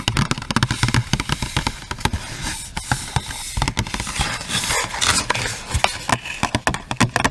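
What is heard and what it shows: Long acrylic nails tap quickly along the faces and edge of a long pink cardboard packaging box with a clear plastic window and a hairbrush inside. The result is a rapid, uneven run of crisp, hollow clicks and light rattles, each with a soft low thump and bright, papery attack that dies away almost instantly.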